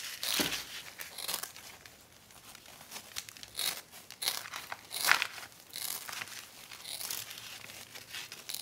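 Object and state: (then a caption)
Coconut fiber planter liner. Gloved hands hold, bend and rub a large, thin, flexible coconut fiber (coco coir) planter basket liner with a fibrous brown outside and a pink-tan backing. The result is a dry, fibrous crinkling and rustling in uneven bursts, bright and airy with almost no low end.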